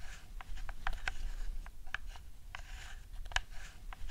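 A hollow plastic PS4 DualShock 4 controller with a camouflage skin has its buttons and sticks tapped and clicked with long nails. Quick, dry plastic clicks and taps come in a loose, uneven rhythm, each one dying away almost at once over a low background rumble.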